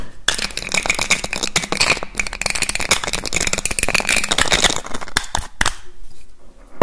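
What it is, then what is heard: Glass perfume bottle cap clicking. Fingers rapidly lift, replace and click the black cap on a small clear glass perfume bottle. A dense, fast stream of sharp, bright clicks and taps runs for about five seconds, then thins to a few isolated clicks before falling quiet.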